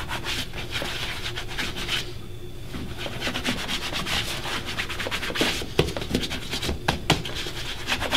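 Fingertips rub polish over the toe and vamp of a black leather dress shoe, worn on a foot and resting on a wooden stand. Soft, steady, broadband rubbing and brushing strokes run throughout, with a brief quieter pause near the two-second mark and a few sharper taps toward the end.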